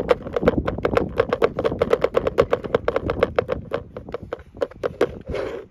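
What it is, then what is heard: Plastic tackle box lid. Fingertips tap and drum rapidly on the flat top of the closed lid of a large, hollow, cream-colored hard plastic tackle box with a black handle. The result is a fast, uneven run of short, dry taps, each carrying a hollow mid-pitched knock and a brief bright click. It ends with a softer, smeared rustle.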